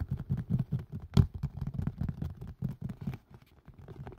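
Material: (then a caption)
Silicone. A green and white collapsible colander with a hard plastic rim and a silicone body, hollow and held upside down over a microphone, is tapped fast with fingertips and nails. The taps land as soft, low, muffled thuds in an uneven rapid patter, with one sharper, louder knock near the middle, before thinning out toward the end.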